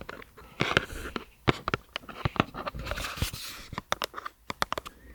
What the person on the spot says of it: 30:43 화장품 종이박스 탭핑 Tapping with Paper box for cosmetics.